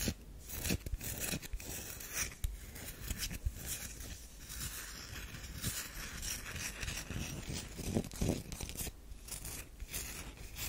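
Long nails scratch across the scored surface of a solid round DURU bar of soap resting in an open palm. The result is a steady, dry, crackling scrape with many short rasping strokes and bright hiss.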